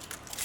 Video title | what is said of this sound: Drying Mint in the Sun | you can also hear how crispy Everything feels